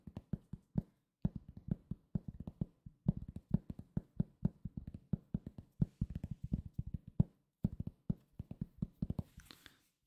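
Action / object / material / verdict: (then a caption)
tap / round cork coaster / cork / none. Fingertips tap and scratch a solid, round cork coaster, producing dozens of quick, dull, low-pitched taps in an uneven rhythm with almost no ring. Near the end, a brief, soft, scratchy rustle is heard.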